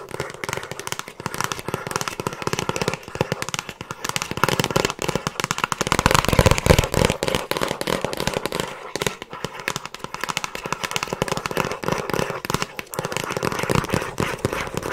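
Long acrylic nails rapidly tap and scratch a hollow, rigid plastic Frasier season DVD box set case held in both hands. The result is a dense, irregular stream of short, dry clicks and crackly scratches with a hollow low thump underneath. It swells a little louder around the middle.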